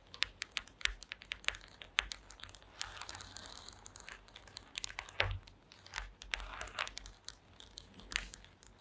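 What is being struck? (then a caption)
Woven mat of small wooden slats. Long acrylic nails tap and scratch across a flat woven placemat made of small wooden slats. Quick, dry clicks mix with bright, crinkly scraping passages that rise and fall. The result is a quiet, crisp patter with almost no ring after each tap.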